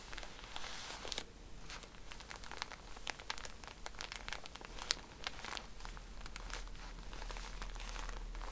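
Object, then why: Plastic-wrapped pack of cotton pads. Long nails scratch and tap on the plastic wrapper of a pack of cotton pads as hands turn it. The result is a close, crinkly rustle broken by a quick string of sharp, bright ticks. A faint steady low hum sits underneath.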